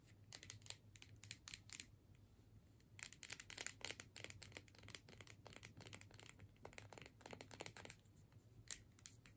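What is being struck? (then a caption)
Plastic tube with metal screw cap. A filled plastic tube with a metal screw cap is held upright while long nails tap and scratch its labeled body. Quick, crisp, bright clicks and scraping strokes come in irregular bursts over a faint steady low hum, with each tap dying away almost instantly.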